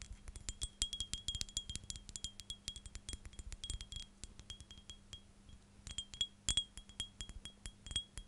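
Long dark nails tap and scratch a clear, hand-sized STR8 glass perfume bottle with a silver cap, holding liquid. Quick bursts of sharp clicks and clinks come with a short glassy ring around 3.3 kHz and bright scratchy edges, over a faint steady low hum. The taps speed up and slow down through the clip.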